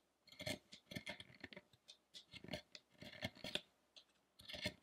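A small chisel repeatedly cuts into the chest and ribs of a large, solid carved wooden Buddha statue lying on a dark table while a hand steadies its head. Quiet, bright scraping and chipping strokes come in quick clusters with short pauses between them, each stroke dying away almost instantly.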